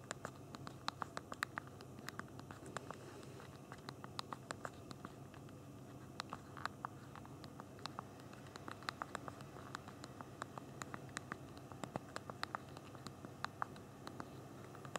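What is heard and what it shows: Both thumbs type quickly on the backlit physical plastic keyboard of a small BlackBerry Q10 phone, producing a dense, steady stream of short, crisp key-click taps. The clicks are quiet and dry with no ring, set over a soft low background hiss.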